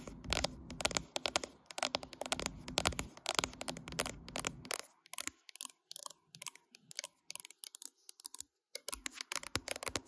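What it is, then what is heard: Glass-backed smartphone tapped and scratched with nails. Long acrylic nails tap and scratch across the matte glass back of a solid mid-size smartphone with a metal frame, held in a tripod clamp and recording itself. The first half is a dense, close, bright scratching and rubbing with a low rumble. It then thins into rapid, sharp clicking taps with almost no ring, before a final flurry of scratches.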